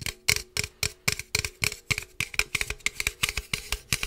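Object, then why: Aluminum drink can. A standard-size hollow aluminum energy drink can with pink and purple print is held close to the mic and tapped with fingertips and nails. Around twenty quick, bright, tinny taps land in an uneven rhythm, each with a hollow metallic ping near 2.2 kHz. Each tap dies away almost at once.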